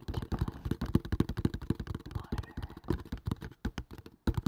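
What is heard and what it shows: Fingertips tap fast on a small, hollow kraft cardboard box with a printed label, held above the mic. About two dozen quick, dull, low thuds come in an uneven, rapid patter, each dying away at once with no ring.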